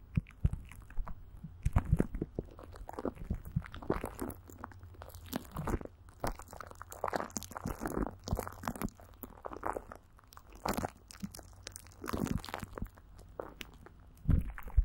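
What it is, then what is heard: Plastic wrap with Vaseline over a microphone. Greasy fingers rub, squeeze and pat clear plastic film that is coated with Vaseline and stretched over a hollow microphone grille. The result is a dense run of close, sticky crackles and soft crunchy pops over a steady low hum. Brighter snaps stand out near the start and end.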